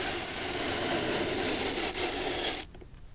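A bristle brush sweeps across the surface of an antique studded leather shoe sole with a metal heel plate, held up by hand. It makes a steady, bright, hissing scrub for about two and a half seconds, with a brief dip just before the two-second mark. The sound then cuts off abruptly into near silence.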